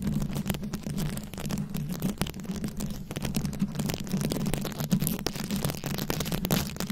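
Very long acrylic nails scratch and tap a fist-sized round microphone head covered in plastic rhinestones and beads. The result is a dense stream of short, crisp clicks and scratches over a steady low hum near 184 Hz.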